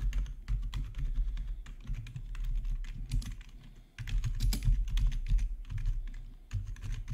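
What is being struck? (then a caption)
Plastic computer keyboard. Fingertips type on the main keys and numpad of a black plastic backlit RGB gaming keyboard, producing a fast, uneven stream of sharp clicky keystrokes. A steady low hum sits underneath, and the typing briefly drops off just before the four-second mark before resuming.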